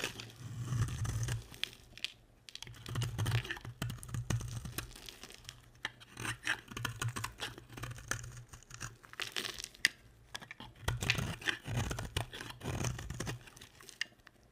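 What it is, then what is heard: Bar of soap being scraped. A hand-sized, solid orange and yellow bar of soap is held in the hand while a box-cutter blade scrapes fine shavings from it. Bursts of dry, crisp scraping and crumbly tearing repeat throughout, with a low rumble under bright, gritty texture.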